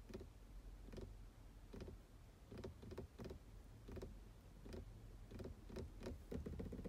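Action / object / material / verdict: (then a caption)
tap / plastic car gear shift knob / plastic / none. Long blue nails tap and scratch a black, solid, matte plastic car gear selector knob. Short, dull clicks arrive at an irregular pace with brief scratchy textures between them, over a steady low rumble.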